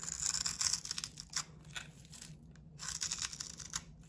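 A box-cutter blade scrapes curls from a solid, hand-sized bar of soap with a blue painted coating, partly shaved down to white soap. Bright, dry, crinkly scraping comes in uneven repeated strokes, with a brief lull midway before the scraping picks up again.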